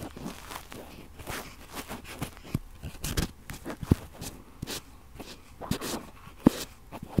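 Cotton swabs are rubbed and scratched around the two metal mesh capsule grilles of a red Tascam-style stereo recorder. Close, dry crunching and scratchy rustles come in irregular bursts, with a few sharper, louder scrapes standing out.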